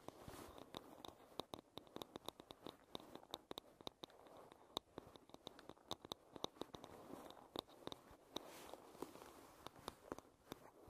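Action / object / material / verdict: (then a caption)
tap / wooden paddle hairbrush / wood / none. Long red nails scratch and tap the wooden back of a paddle hairbrush, giving a soft, hissy scratching bed broken by many sharp, dry clicks. Each tap is brief and bright, with no ring, over a low, even level.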